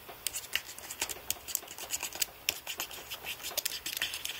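Fingertips rub and press individual plastic keys on a white aluminium-framed computer keyboard, dabbing them with Blu-Tack. Quiet, bright rubbing and short, crisp clicks come in a quick irregular series, with almost no low end.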